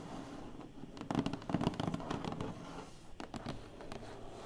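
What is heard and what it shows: Long painted fingernails scratch and tap on the lid of a large, flat, closed black cardboard box, which sounds hollow. Quick, irregular bursts of dry scratching and soft, dull taps die away almost at once, standing only a little above a steady low background hiss.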